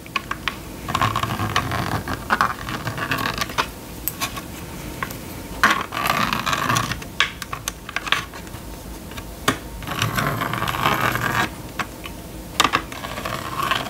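A plastic stylus scratches and drags across the screen of a small red and yellow plastic magnetic drawing board, with the yellow string moving over the board. Bursts of raspy, scratchy scraping come and go with short sharp ticks and clicks between them, and brief quieter pauses separate the strokes.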